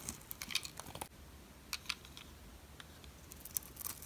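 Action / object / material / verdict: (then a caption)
scrape / soap bar shaved with a metal blade / soap / none. A metal utility blade shaves a solid, oval, white dry soap bar with an embossed logo. It makes quiet, bright, crisp scraping clicks and crackles in short bursts, with a softer, quieter stretch in the middle. Each sound is dry and stops at once with no ring.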